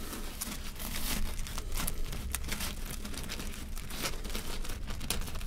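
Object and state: Seeded bread loaf crust crackling.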